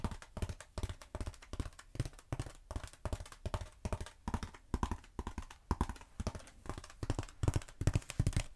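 Long acrylic nails tap and scratch a long, black, textured foam roller, first held across and then upright. The result is rapid, irregular taps with dull, low thuds that stop almost instantly, mixed with soft scratching.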